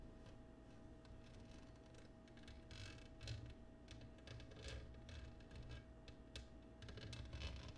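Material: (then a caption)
Glass. Long nails tap quickly on the patterned surface of an empty, clear cut glass oval dish turned upside down on a wooden table. The result is a soft, rapid stream of light, bright clicks and brief glassy ticks, some a little louder, over a steady low hum.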